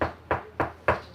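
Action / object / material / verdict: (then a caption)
knock / solid-surface kitchen countertop / solid surface / solid. Four knocks on a solid-surface RV kitchen countertop, heard as short, dull thuds that fade quickly with a mid-range tone. The knocks sound solid rather than hollow, unlike the bathroom counter, which is how the two materials are told apart.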